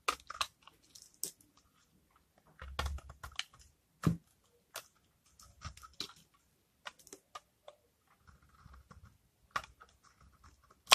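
A utility knife blade scrapes curled dry shavings off a hand-held, palm-sized oval bar of old, hardened pink soap with a brown rind. Short, dry, crisp scraping and crackling bursts come in irregular clusters with quiet gaps between them, bright and snappy with a faint low thump on the stronger strokes.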